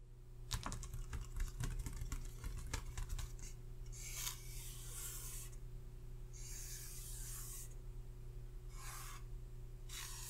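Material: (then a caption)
Paper. Fingertips and short painted nails from both hands tap and scratch a printed paper face chart clipped to a hardboard clipboard lying flat on a red surface. A run of quick, crisp taps comes first, followed by several longer, bright scratching strokes across the paper, all over a steady low hum.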